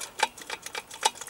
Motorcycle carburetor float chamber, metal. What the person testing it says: Стал поглуше, и снизу, вот снизу у нас покапал бензин.